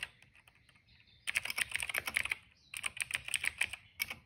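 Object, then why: Plastic mechanical keyboard. Fingertips of both hands type rapidly on a retro-style cream plastic mechanical keyboard with a hollow case and black and purple keycaps, resting on a rug. After a quiet start, two bursts of fast, bright, hollow clacks, centered around 2.2 kHz, are separated by a short pause, with each keystroke cutting off sharply. A final couple of taps end the clip.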